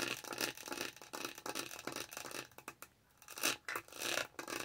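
Long nails repeatedly scratch the dotted texture of a lavender plastic tumbler lid close to the mic. The result is dry, bright, rasping scrapes in quick bursts, with a brief near-silent pause around the three-second mark before the scratching resumes.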